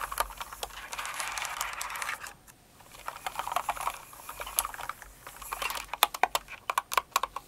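Long nails rub and tap across the plastic keycaps of a Cinnamoroll-themed kawaii mechanical keyboard. A dense, scratchy rubbing fills the first two seconds, pauses briefly, then gives way to sharper, separated bright clicks of typing that grow more distinct toward the end.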